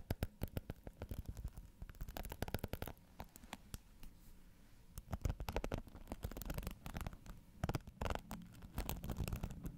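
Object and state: Plastic hairbrush bristles being scratched.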